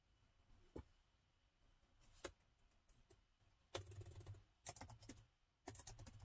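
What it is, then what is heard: Plastic laptop keyboard being typed on. Fingertips of both hands type on a plastic laptop keyboard, producing quiet key taps. A few isolated taps give way to short bursts of rapid typing, each tap a brief bright click over a soft low thump that dies away almost instantly.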